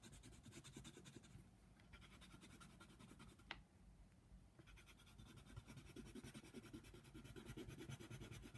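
A yellow colored pencil tip is scratched across a flat paper coloring book page in fast shading strokes, making a steady, dry, rhythmic rasp with bright scratchy texture. The strokes soften midway, with a single sharp tick, then return louder and denser toward the end.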